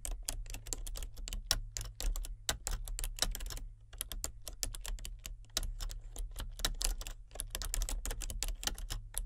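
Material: Plastic.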